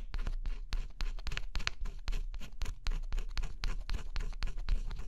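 A thin scraper stylus scratches at the black scratch-off coating on a flat cardboard jigsaw puzzle. Quick, uneven scratching strokes come in a dense, steady run, each a short dry rasp over a deep low rumble.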